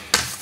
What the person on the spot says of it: जिसे आप निश्चित रूप से अधिक सघन जानते हैं और आप इसे टैप करते हैं और आप इसे पहले से ही सुन सकते हैं